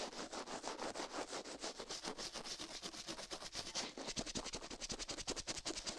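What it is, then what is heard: Silicone microphone ear scrubbed with a toothbrush. An orange-and-white plastic toothbrush, held in a white glove, rapidly scrubs the left silicone ear of a binaural microphone resting on a steel plate. It makes a fast, continuous run of bright, hissy bristle-scratching strokes with very little low end, each stroke short and dry.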